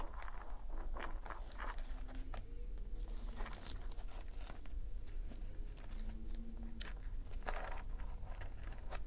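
Long acrylic nails scratch and tap across the textured dried-leaf face of a small handmade paper notebook with a hard cover, lying flat. Dry, crackly scrapes and quick bright taps come in a steady flurry over a constant low hum.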